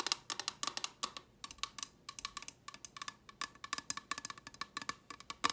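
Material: Plastic.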